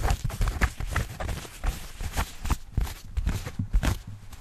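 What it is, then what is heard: Denim jeans scratched and rubbed. Fingernails and fingertips scratch and rub light-wash denim jeans, a flexible cloth with pockets and seams, held behind the microphone. A steady run of dull, low scuffs and soft thumps rises and falls with brief scratchy strokes. The sound is muffled, with little bright content.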